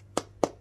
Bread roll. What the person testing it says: if they've baked well, you should flick them and get a... hollow sound